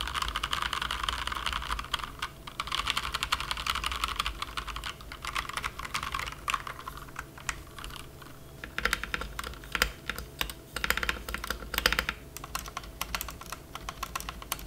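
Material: Plastic.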